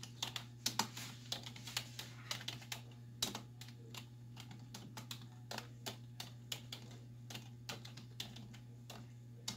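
Both hands with long white nails type on a black plastic desktop keyboard with hollow keys, striking with fingertips and nail tips. About 35 quick, bright, hollow clicks and taps come in an uneven rhythm, each dying away almost at once. A steady low hum runs underneath.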